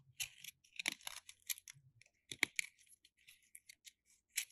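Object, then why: Plaster dig block. A solid white plaster block, now partly carved, is held in the hand and scraped with a metal utility knife blade, and plaster powder piles up on the table. Quiet, dry, bright scraping and crunching strokes come in short irregular bursts. The sound has a gritty, hissy texture and almost no low end.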